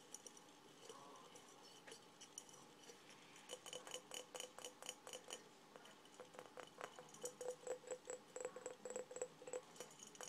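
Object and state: Glass mason jar with metal lid.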